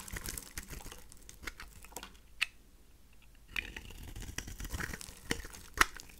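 A pink rectangular bar of dry rose soap, held in the hand, is shaved and scraped with a craft knife blade, breaking off flakes. Quiet, dry crinkling and crunching scrapes run throughout, broken by a few sharper, brighter snaps as the flakes come away.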